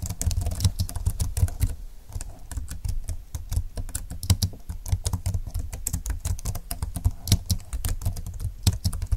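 Both hands type quickly on a slim computer keyboard with plastic keys and a grey frame, lying flat on a desk. Fingertips tap out a dense, steady run of short, dry clicks with almost no ring, each carrying a soft low thud beneath a bright tick.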